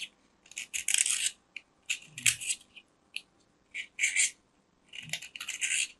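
A metal craft knife cuts and shaves the surface of a small, round, solid white soap disc held in the hand. It makes crisp, crumbly, bright scraping bursts separated by short silences, with almost no low end.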